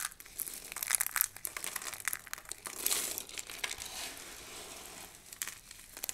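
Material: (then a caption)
Soap. Hands scoop up a pile of thin, dry pink and blue soap shavings and crush the shards between the palms and fingers. The result is a dense, bright crinkling crunch of rapid crackles and snaps with almost no low end. It swells into a louder stretch of grinding around the middle before settling into softer rustling and a few final crisp crunches.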